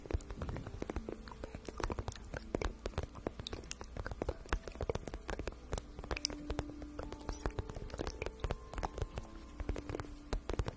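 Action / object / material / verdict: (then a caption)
scrape / vinyl pouch / vinyl / none. Long painted nails tap and scratch across a medium-sized, shiny pink patent vinyl pouch that is hollow and looks empty. The result is a steady run of quick, soft clicks and dry scratching, with dull low thumps from the hollow body and short bright squeaks where the nails drag over the glossy surface.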